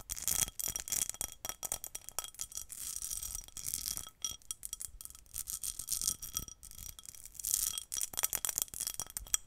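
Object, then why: Small pressed glass bowl. A small, hollow, empty pinkish-red patterned pressed glass bowl is held in both hands while its rim and ridged body are tapped and scratched with long nails. The result is a rapid, uneven stream of bright, ringing clinks and scratchy rasps, with faint steady high tones lingering beneath them.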